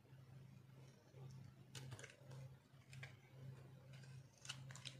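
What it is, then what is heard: Dry soap bar being carved. A metal blade scrapes and carves crunchy shavings from a solid, dried orange soap bar held in a palm. Bright, dry crackling bursts come in short scrapes over a steady low hum.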